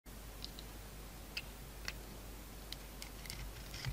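A utility knife blade shaves and carves a solid, hand-sized oval bar of soap held in the palm, cutting away its purple coating and orange interior. Short, bright ticking clicks of the blade scraping through the soap sound over a steady low hum, with a few sharper snaps spaced through the clip.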